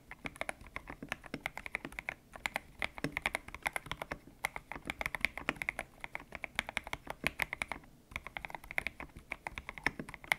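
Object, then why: Mechanical keyboard with plastic keycaps. Fingertips type steadily on a white-cased mechanical keyboard with grey and pink PBT plastic keycaps, its hollow case resting on a desk mat. The rapid, short, bright clacks come in bursts with a tonal clack near 2.1 kHz, briefly pausing around two and eight seconds. Each keystroke stops almost instantly, with very little low end.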